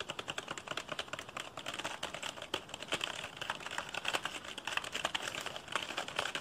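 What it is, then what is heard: Plastic computer keyboard. A black plastic computer keyboard is held upright while fingertips press and tap its keys quickly. The result is a dense, continuous stream of sharp, bright plastic clicks with very little low end, each tap cut off almost instantly.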